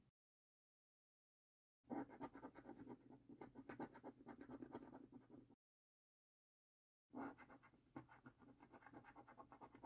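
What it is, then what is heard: Paper scratch card being scratched. A coin scratches the latex coating off a thin, flat paper lottery scratch card resting on a wooden table. Quiet, dry, rapid scraping strokes come in two bursts separated by a few seconds of silence, the first longer than the second. The rasping texture centers low, around 285 Hz.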